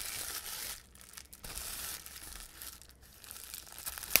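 Fingertips squeeze and crumple a large sheet of clear plastic bubble wrap with air-filled bubbles, popping the bubbles. Bright, hissy crinkling comes in bursts with quieter gaps, ending in one sharp, louder pop near the end.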